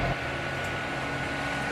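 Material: Nothing is struck.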